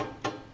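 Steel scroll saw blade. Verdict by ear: Loose.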